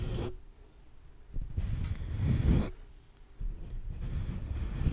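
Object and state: Metal mesh microphone grille being scratched.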